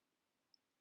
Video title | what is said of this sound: PR unboxing and Review @Cooserryofficial Affordable Dip powder kit #beginnerfriendly | you want to tap it and you want to hear that click click click that you hear when you're looking for it like acrylic